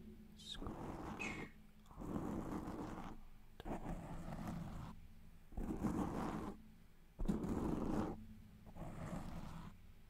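Fingertips and nails of both hands scratch and rub a soft, porous black foam windscreen on a microphone, cupping it closely. The result is repeated bursts of dense, muffled, low-heavy rubbing and crackling scratches, separated by brief quieter gaps.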